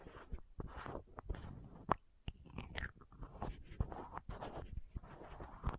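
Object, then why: Small plastic contact lens case. Long nails tap and scratch the green and white lids of a small hollow plastic contact lens case. A quick run of soft, dry, close-up clicks, each stopping dead, alternates with faint scratchy rasping across the plastic.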